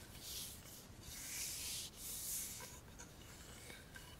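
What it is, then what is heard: Composite wood baseball bat. Bare fingertips and nails rub and tap the barrel, then the knob end, of a solid black Baum composite wood baseball bat. Quiet, bright scraping swells rise and fade, followed by softer rubbing with a few faint, light taps.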